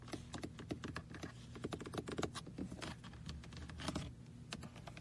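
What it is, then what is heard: Plastic toy-car computer mouse. A small red hollow plastic computer mouse shaped like a toy car rests on a lap while fingertips tap and click rapidly on its roof. Quick, dense, hollow plastic clicks and taps sound like fast typing over a low steady hum.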